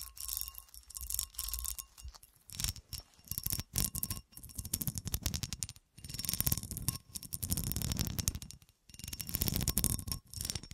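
Long fingernails tap and scratch across the ridged cuts of a solid, textured cut glass horseshoe held in the hand. The sound comes in bursts of rapid, dry clicking and rasping scrapes with bright highs, separated by brief pauses. Each tap dies away almost instantly, with no lasting ring.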